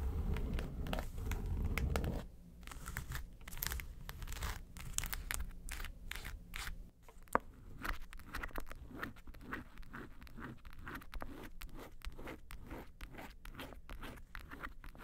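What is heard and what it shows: Long nails scratch the lid and the front near the handle of a small, hollow, yellow textured faux-leather makeup suitcase. A low rumble opens the clip for about two seconds, then gives way to dense, crackly, crinkling scrapes in quick, uneven strokes through to the end.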